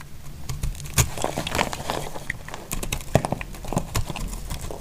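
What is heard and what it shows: A thin dark utility knife blade scrapes and shaves the edge of a hand-sized, solid bar of dry orange-and-white soap held in one hand, sending flakes onto a pile of shavings. The result is a dense run of short, dry scraping clicks and crackles with a low, thuddy body and bright, crisp edges. Several sharper snaps stand out from the steady shaving.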